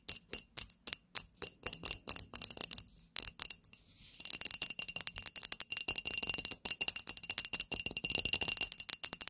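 Long nails tap a small glass candle holder filled with pink wax and holding a lit candle. It gives dozens of quick, bright, clicky taps with a faint high glassy ring that dies almost instantly. Evenly spaced taps give way to a short pause, then a fast, continuous flurry.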